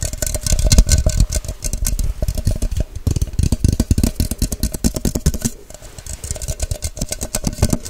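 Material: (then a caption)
Plastic. A tall, hollow, empty clear plastic measuring cup with a white cap is tapped fast on its sides with long white nails. The result is a dense, rapid stream of short plastic clicks with a deep, hollow thump under each tap and a bright edge on top. The tapping keeps up a steady, aggressive pace throughout, easing slightly just past the middle before picking back up.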